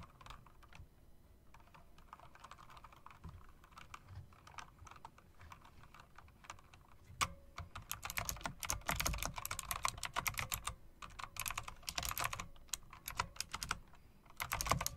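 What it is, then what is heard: Mechanical typewriter-style keyboard being typed on. Two hands with long dark nails type across the round plastic and metal-rimmed keycaps of a mechanical typewriter-style keyboard, making sharp, bright clicks. The typing starts soft and sparse, then grows louder and denser about halfway through as the keys clatter in quick bursts.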